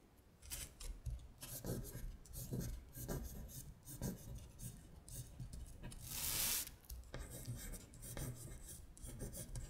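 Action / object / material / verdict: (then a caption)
scrape / thin paper sheet on a hard surface, scratched with long nails / paper / none. Long stiletto acrylic nails trace the words on a thin printed paper worksheet of Korean colors lying flat on a glittery surface. Quiet, dry, rasping scratches come in quick repeated strokes, with one longer, brighter hissing scrape partway through.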